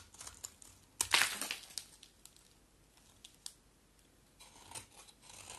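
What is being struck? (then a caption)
Solid bar of soap cut with a knife blade. A solid oval white bar of soap, held in the hand, is shaved with a utility knife blade. Crisp, bright scraping and crackling cuts come in short bursts, the loudest and longest near the start, separated by quiet pauses. The sound is soft overall and mostly high-pitched, with almost no low end.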